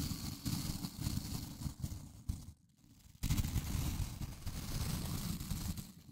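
A small blue plastic scrub brush with white nylon bristles is held near the mic while fingers flick the bristle tips. This makes rapid, crackling snaps, heavy in low rumble, in a continuous run. It pauses for about half a second, then resumes.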